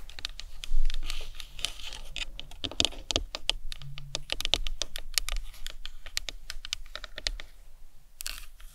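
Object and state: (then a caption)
Plastic anatomical skull model. Long nails tap and scratch the top of the cranium of a hollow plastic anatomical skull model. The result is a rapid, uneven run of short, bright clicks that die away almost at once, mixed with brief scratchy passages over a faint low hum. A slightly louder burst comes early, and the tapping softens toward the end.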